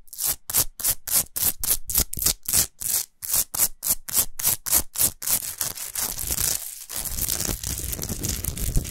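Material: Rock salt.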